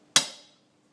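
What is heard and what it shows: A punch gently taps the outer race of a steel ball bearing fitted in an aluminium engine case, giving one sharp, bright metallic tick that fades within about half a second. The solid sound shows the bearing is properly seated, not the light, tinny sound of an unseated one.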